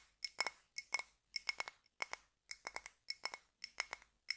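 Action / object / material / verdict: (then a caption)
tap / small glass jar filled with wax / glass / none. Fingertips and nails tap and scratch the sides of a small clear glass candle jar filled with solid red wax, held close. About 22 bright, high glassy clicks and clinks come in quick clusters of two to four, each dying away almost instantly with no low end.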